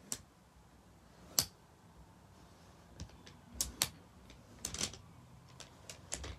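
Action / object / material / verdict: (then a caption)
strike / wooden abacus beads and frame / wood / none. Fingertips slide the painted wooden beads of a wooden bead abacus up toward the wooden frame bar, where they clack against each other and the frame. Eleven short, bright, dry clicks sound at an irregular pace against a quiet background, some landing in quick pairs.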